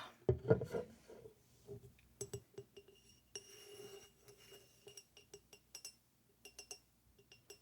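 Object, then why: Glass bottle. An original glass Macallan whiskey bottle is tapped on its glass in a quick, irregular series of light clinks. A louder knock opens the clip, followed by short, bright taps with a faint mid-pitched ring that dies away almost at once.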